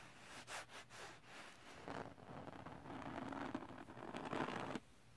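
A flat sheet of silver holographic glitter paper or card lies on fabric while fingertips and nails scratch it and a flat palm rubs across its textured glitter surface. A few short, separate scratching strokes come first, then build into a continuous, louder gritty rubbing with a bright, papery rasp. The rubbing stops abruptly just before the end, leaving a quiet tail.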